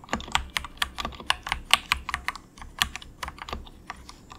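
Fingertips of both hands type softly on a compact, inexpensive 68-key plastic mechanical keyboard with a hollow case, resting on a desk mat. About nineteen bright, hollow clacks land in an uneven rhythm, each dying away almost instantly over a faint low rumble.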